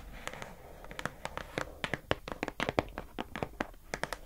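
Long acrylic nails tap on the lid of a pink hollow plastic food container box, then the box is turned in the hand. Around two dozen quick, dry clicks sound in an uneven rhythm, each sharp and bright with almost no ring, over faint scratchy handling noise.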